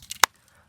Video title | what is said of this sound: లోపలికి వెళ్ళడానికి చాలా భయమేసింది 🤯 - Hidden caves near paderu - #tribalanveshakulu | normal రాయికి కొడితే sound ఇలా వస్తుంది